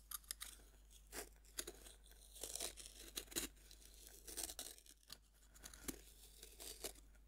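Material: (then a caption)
Pressed powder. A metal knife blade scrapes and scratches across the powdery surface of a fist-sized, solid pink pressed-powder bath bomb resting on a wooden board. Quiet, bright, gritty scraping and crunching is heard, broken into many short rasps and crumbling bursts over a faint low hum.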